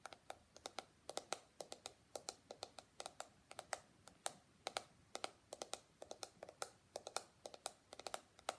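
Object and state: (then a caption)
Plastic detangling hairbrush. Fingertips and nails scratch and flick the flexible plastic bristles and tap the hollow shell of a small pink and white plastic detangling hairbrush. The result is dozens of quick, dry, bright clicks and ticks in an uneven typing-like rhythm, each dying away almost instantly, with a faint scratchy texture between them.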